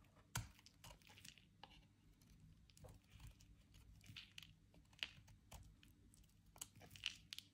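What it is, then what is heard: Bar soap being carved. A metal utility knife blade carves and scrapes the surface of a soft, dry, solid white bar of soap held in the hand. Quiet, dry scraping and crumbly crunching recur throughout, with a few sharp, bright snaps standing out. Each sound is short and dies away at once over a faint low rumble.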